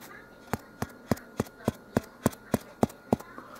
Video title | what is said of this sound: Elizabethtown KY / Hardin Co. 12- 7- 2020 | that thud that's how you know it's done because it sounds hollow